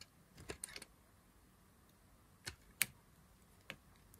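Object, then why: Bar of soap cut with a knife. A knife blade cuts into a solid green dry soap bar held in the fingers, peeling slices from its edge. Short, dry, bright crackles and clicks come in a quick cluster at the start, then as scattered single snaps against a quiet background.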